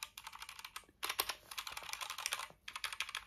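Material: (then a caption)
Plastic. Fingertips type rapidly on a small pink compact Azio mechanical keyboard for the Apple iMac, with RGB backlight and a plastic case and keycaps, held on a couch. Quick, bright plastic key-press clicks come in fast bursts with two brief pauses. Each tap is short and dry, with almost no low end.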